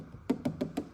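Knuckle knocks on a known rust-prone area of a Mk3 Ford Fiesta's steel bodywork that looks painted or repaired give four short, dull thuds centred around 250 Hz that die away almost instantly. The panel sounds solid, suggesting some work may have been done there and that the car has been looked after.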